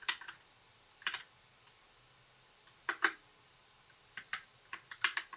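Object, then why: Plastic mechanical keyboard. Fingertips of both hands type on a compact white mechanical keyboard with backlit plastic keycaps. Short, bright clacky key clicks come in irregular little bursts, separated by quiet pauses. Each click dies away almost instantly.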